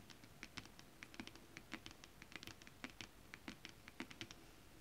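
Long acrylic nails tap and scratch flat, iridescent foil scale-print stretch fabric, a holographic mermaid scale fabric. The result is a quiet, rapid, irregular patter of crisp, bright clicks with brief scratchy crackle, each tap dying away almost instantly over a faint background hiss.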